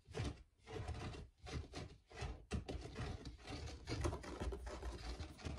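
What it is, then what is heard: Plastic perforated lid being scratched. Fingertips and nails scratch and rub the textured surface of a white perforated plastic lid with a woven pattern that is hollow underneath. The result is dry, rustling scratching in uneven bursts separated by short pauses, with a dull, hollow low end.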